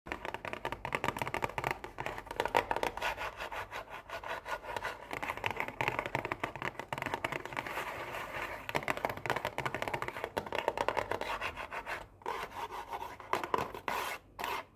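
An Oreo cookie box of thin printed cardboard, hollow and holding cookies, is handled, tapped and scratched with long painted nails and fingertips. Fast, dense clicks, taps and dry scraping run almost continuously, with a papery midrange around 1 kHz and a bright crackly edge. Brief gaps fall near the end.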